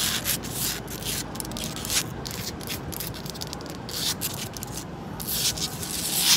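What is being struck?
Concrete balcony ledge.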